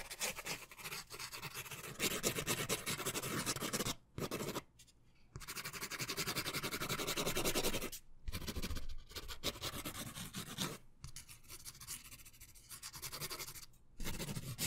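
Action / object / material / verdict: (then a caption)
scrape / paper sketch pad with pen / paper / none. A green pen scratches and writes in quick strokes across a thick stack of white paper in a hand-held sketch pad close to the mic. The result is dense, broadband scratching with a bright hiss, broken by brief silent pauses between bursts of strokes.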